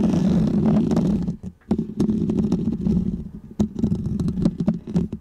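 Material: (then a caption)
Foam. Fingernails of both hands scratch a small, round, white textured foam windscreen on a microphone. The result is a dense, muffled, rumbling scrape centered in the low range, broken by brief pauses and sharp, crackly scratch bursts.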